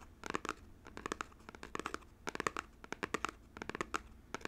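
Fingernails tap and scratch the front face of a small, hollow, printed cardboard Nintendo Joy-Con box, likely shrink-wrapped and held up in both hands. The result is an irregular run of quick, dry, clicky taps mixed with crisp, crinkly scratching, bright and papery with no ring. Short pauses separate the bursts, all at a quiet level.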